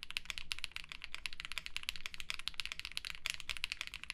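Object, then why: Mechanical keyboard with ABS plastic keycaps. Both hands type continuously with their fingertips on a black and yellow Mammoth75 mechanical keyboard (metal case, polycarbonate plate, GMK ABS keycaps) resting on a desk mat. The result is a rapid, steady stream of crisp, bright clacks that stop almost instantly, over a faint low hum.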